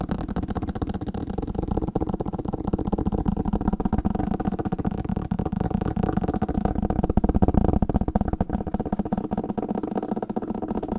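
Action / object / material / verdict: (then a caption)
tap / old paper book / paper / none. Fingers tap quickly on an old paper book. The taps are dull, low, and muffled, with almost no high end, and they blur into a steady, continuous patter that runs the full eleven seconds without pausing.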